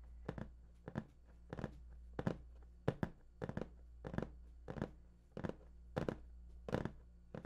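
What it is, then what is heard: Cardboard box. Fingertips of both hands tap and scratch the top surface of a large, hollow, printed cardboard PS4 box. Soft, dull taps and papery scratching sounds repeat in quick, uneven bursts over a steady low hum.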